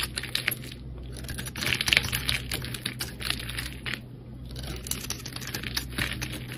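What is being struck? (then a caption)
Solid bar of soap scraped with a metal blade. A metal blade scrapes and carves a palm-sized, solid rectangular bar of soap held in the hand, cream with green and pink layered edges, peeling off thin curls. Dense, dry, crisp scratches and ticks with bright high crackle come in quick bursts, over a steady low hum.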